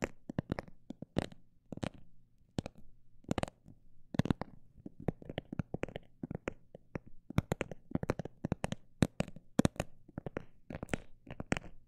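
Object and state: Textured cosmetic bag tapped.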